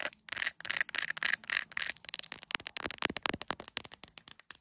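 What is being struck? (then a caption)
Smartphone in a hard plastic case. Long nails tap and scratch the camera lenses and case of an iPhone in a clear plastic case with gummy bear charms. First come dense, bright, crackly scratches, then a quick run of sharp, clicky taps with almost no low end.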